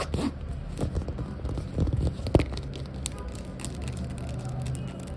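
Long nails scratch and tap the plain orange underside of a foam or rubber flip-flop, and its strap is flexed and creaks. The result is a dense run of dull, low scraping and soft taps, with one sharper tap near the middle.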